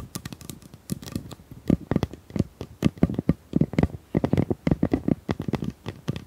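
A pink plastic tube is tapped in quick, uneven bursts, each tap a short, dull knock with a low body and almost no ring. The taps cluster into soft rhythmic runs with brief pauses between them.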